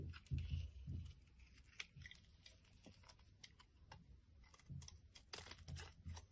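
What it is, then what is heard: Bar of soap being scraped. A solid blue bar of soap held in the palm has its surface scraped with a metal blade, shaving off flaky curls. Soft, irregular scraping and crinkly crunching strokes repeat at an uneven pace over a low, muffled rumble, with occasional bright ticks as the blade catches.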